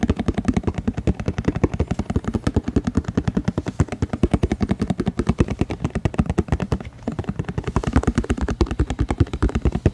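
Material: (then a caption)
Plastic. A small, hollow, apparently empty translucent white plastic deli-style food container is held in both hands and rotated while fingertips and nails tap and scratch it quickly. The result is a dense, rapid stream of dry, low, hollow clicks and taps with very short decay and a faint scratchy texture.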